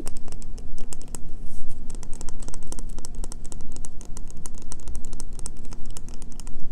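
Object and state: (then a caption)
Bar of soap. Long fingernails tap and scratch quickly on a solid green bar of soap held in the hands. The result is a dense run of short, bright clicks and scratchy strokes over a steady low hum.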